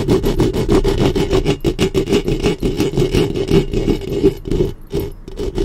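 Long fingernails on both hands quickly scratch the head of a black studio microphone's hollow metal mesh grille. It makes loud, close, rapid rasping strokes, about three per second, with a hollow mid-low ring under the scratchy texture. The strokes run continuously, with a brief lull near the end.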